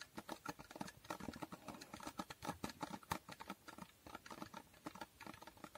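Long nails rapidly tap and scratch a small, hollow cardboard box with a holographic foil finish. The result is a quiet, dense patter of short, dry clicks that die away quickly, with a hollow papery tone centered near 900 Hz and a soft scratchy hiss between taps.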